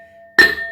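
A heavy iron pestle strikes inside a traditional iron mortar (hamam dasta) used to hand-crush herbs for a decoction. It gives a single clinking hit that rings like a bell. A clear tone near 1.8 kHz carries on under bright overtones and fades slowly.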